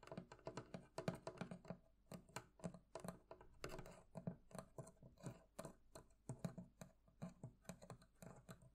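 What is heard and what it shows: Fingertips tap in quick, irregular bursts on the metal fittings of a wooden barrel chest, producing dozens of short, dull knocks with a low tone around 176 Hz. Each tap dies away almost instantly, with a faint bright click on top and soft scratchy brushing between strikes.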